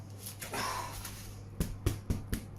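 A baked sourdough loaf, just out from baking on a pizza stone, is tapped as a doneness test after a brief rustle over a steady low hum. Five short, dull, hollow knocks follow, each dying away almost instantly. The hollow sound means the loaf is baked through.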